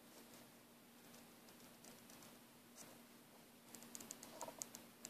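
Fingers and a thumbnail squeeze, rub and scratch the woven fabric or nylon braid of a coiled green braided nylon airbrush air hose. Soft, quiet scratchy rustling over a faint steady low hum gives way in the last second and a half to a quick run of sharp, bright ticks and clicks.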